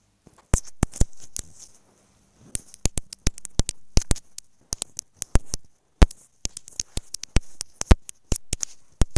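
Long nails tap a small, hollow, white plastic inline microphone on a wired earphone cable resting on a bed cover. Sharp, dry, bright clicks come in quick irregular bursts, each dying away almost at once, with a low soft rumble underneath. A near-silent pause falls around the two-second mark before the tapping resumes.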